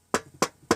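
Three knocks on the metal tin case of an anniversary edition DVD, each a short, dry tap with a bright midrange clack and almost no ring.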